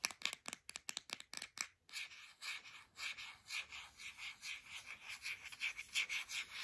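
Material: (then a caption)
Plastic. A white plastic deodorant stick is tapped with long nails in a quick run of sharp, bright clicks. It is then rubbed and scratched in a steady, raspy, high-pitched scraping that swells and fades in rhythmic strokes.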